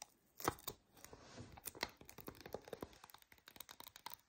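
A hand-held lint roller, a white adhesive paper roll on a hollow core with a black plastic handle, is held while long nails tap and scratch across the paper roll. Quiet, dry, papery taps come in an irregular stream, mixed with crinkly scratching and a bright, sticky crackle. Each tap is short and stops almost at once.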